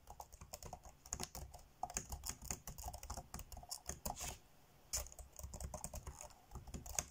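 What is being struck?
Plastic laptop keyboard.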